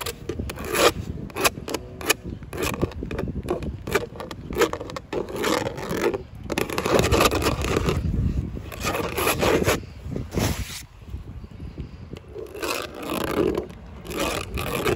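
Long pale acrylic nails and fingertips scratch and scrape along grey wood-grain textured vinyl siding panels, hollow thin plastic boards on an outside house wall. The result is a dense run of rough, crackly scraping strokes with bright edges and a low rumble beneath, easing briefly near the end before building again.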